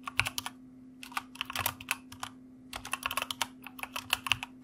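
Fingertips of both hands type on a white mechanical computer keyboard with plastic keycaps, producing quick, bright clacks that ring around 2.8 kHz and die almost instantly. The keystrokes come in three bursts separated by short pauses, over a faint steady low hum.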